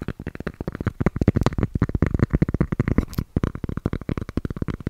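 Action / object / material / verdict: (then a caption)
tap / cork surface / cork / none. Cork is tapped in a rapid, steady series of about 28 short, dull taps. Each tap is a soft, low thud that stops almost at once, with most of its energy low and very little brightness.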